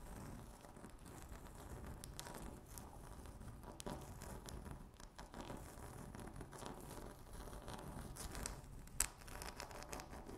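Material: Laminate.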